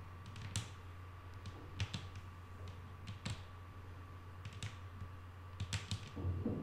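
Long nail tips tap on a flat, solid wooden tabletop in an irregular series of soft, quick clicks with bright, crisp attacks that die away almost at once. A low, steady hum and a faint constant tone sit underneath throughout, and the taps cluster more densely toward the end.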